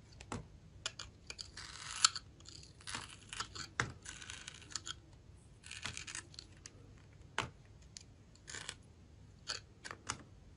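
A box-cutter blade scrapes the gold glitter coating off a solid round bar of clear red glycerin soap held in the hand, then cuts into the red face. Crisp, bright scratching strokes and short rasping bursts come in quick, uneven succession, each dying away almost instantly over a quiet background.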